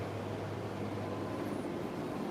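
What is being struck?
Nothing is struck.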